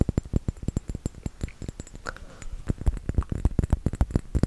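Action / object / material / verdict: tap / small round glass bottle with metal cap, filled with liquid / glass / none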